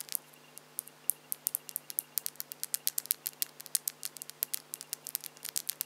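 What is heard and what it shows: Long French-tip acrylic false nails on both hands are tapped and clicked against each other with the fingertips held close together. About forty quick, dry clicks follow in an irregular patter. Each click is short and bright with almost no low end, over a faint, steady low hum.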